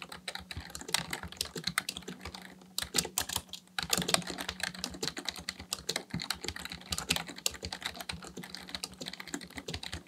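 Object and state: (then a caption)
Plastic computer keyboard being typed on. Continuous fingertip typing with both hands on a black plastic full-size membrane Dell KB1421 keyboard with a hollow housing, resting on a desk. Rapid, bright, clicky key taps run throughout with brief bursts and pauses, each tap short and dry over a faint low hum.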